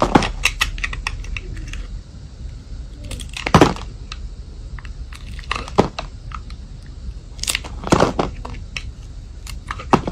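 A metal utility blade shaves and scrapes the sides of a solid white soap bar with silver glitter edges, held in hand. The result is a series of crisp, dry scraping and crunching strokes in irregular bursts, with bright, short-lived edges and a low, steady background hum.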